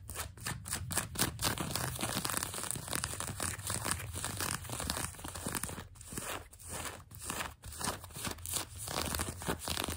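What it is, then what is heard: Denim jeans fabric. Long nails scratch grey-blue denim jeans fabric stretched over a knee. A dense, continuous run of rough, bright scratching and rasping strokes rises and dips over a steady low rumble.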